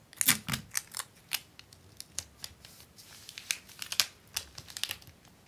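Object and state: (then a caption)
Plastic cover film sheet being scratched and crinkled. A large flat sheet of clear acetate book-cover film on a white paper liner, lying on a wooden desk, is pressed, rubbed and scratched by hands with long painted nails. A quick series of sharp, bright crinkles and scratchy clicks sounds, each dying away almost at once, with very little low end.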